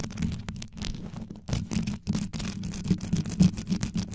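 Long yellow nails scratch quickly over the top and sides of a black condenser microphone's rhinestone-studded grille. The result is a dense run of rough, scraping bursts with a deep low-end thump, heavy in the low frequencies and fast and uneven in rhythm.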